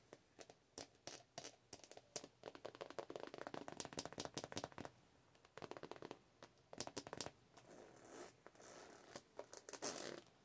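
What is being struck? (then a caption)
Glossy PVC zippered pouch. A medium zippered cosmetic pouch of glossy holographic PVC with a metal logo plate, soft and hollow, is scratched and tapped with long nails. Quick, dense bursts of crinkly scratching and clicky taps come in clusters with brief pauses, with bright, airy highs and little low end.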